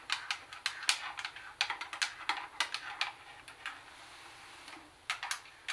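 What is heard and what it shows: Long nails tap on the black plastic top, CD lid and control knob area of a plastic CD cassette boombox. Quick, bright, dry clicks come in irregular bursts with almost no low end, pausing for a couple of seconds of quiet before a few final taps.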